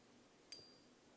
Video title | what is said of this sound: (금값, 금시세) 메이플 은화 이글 은화 진짜 가짜 구분 방법 #금시세 #금값시세 #은화 #실버바 #골드바 #창원한국금거래소 #진해한국금거래소 bullion test | 가품을 가지고 이렇게 때리면 안 나와요